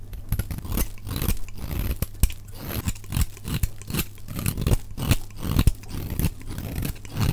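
A utility knife blade shaves the edges of a solid, dry, white oval soap bar held in the hand, cutting off powdery flakes. Rapid, dry scraping crunches run together in quick strokes, sped up to double speed, with most of the energy low and a faint bright hiss on each cut.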